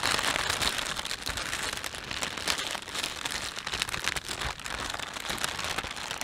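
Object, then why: Thin plastic shopping bag. Thumbs rub and stretch the film of a thin, empty plastic panda shopping bag. A dense, continuous bright crinkling and crackling runs at a steady level for about six seconds, with little low end.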